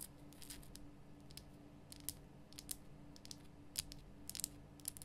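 Long nails scratch and tap the sides of a large, rough, glowing pink Himalayan rock salt lamp, a solid salt block. The result is quiet, dry, bright clicks and scratchy rasps with almost no ring, heard over a faint low steady hum.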